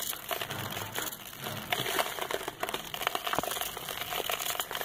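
A metal knife blade scrapes a hand-held, solid packed ball of soft, dusty red sand over lined paper. It produces a continuous, gritty crunching and crinkling, made of dense, bright crackles with a faint mid-range tone near 720 Hz. Grains break away in quick, dry bursts that die out almost instantly.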